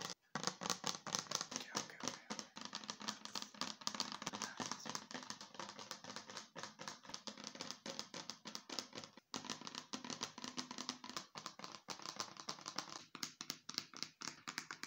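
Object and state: Plastic bottle tapped and scratched.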